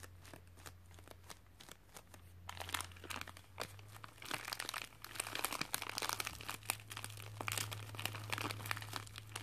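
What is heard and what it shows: A white padded plastic mailer with contents inside, resting on carpet, is scratched and tapped with fingernails, then lifted and squeezed in both hands. Sharp, bright crinkles and crunches build up over a steady low hum.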